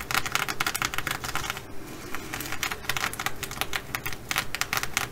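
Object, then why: Plastic sequin fabric bag. A blue reversible flip-sequin fabric bag lies flat while long acrylic nails, first of one hand and then both, scratch and tap across the sequins. The result is a rapid run of crisp, clicky taps and bright rattling scratches, with a brief softer, smoother scratching stretch near the middle.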